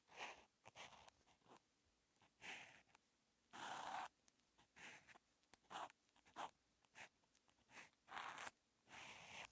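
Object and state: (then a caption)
Felt-tip marker writing on paper. A felt-tip outline marker held in the fingers is dragged across a flat paper calligraphy practice notebook with a red grid, lying on a desk, writing Chinese characters. Quiet, bright, dry scratching strokes come in short bursts and a few longer sweeps, with brief silent gaps between strokes.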